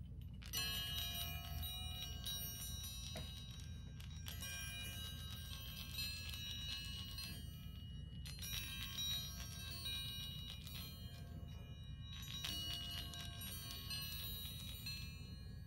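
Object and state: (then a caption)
Chrome baoding balls with inner chimes. A pair of small polished chrome baoding balls, hollow with chimes inside, is held in one hand and shaken and rolled against each other. Bright, high chiming tones ring out in repeated bursts and linger for a few seconds. A steady low rumble sits underneath throughout.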